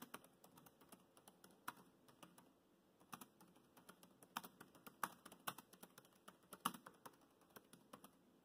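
Fingertips type on the black plastic chiclet keys of a dark grey laptop keyboard, producing about 31 soft, short clicks at an irregular pace over a quiet background. Each tap is a brief, dry tick with a bright edge that dies away almost instantly, with a few louder keystrokes standing out.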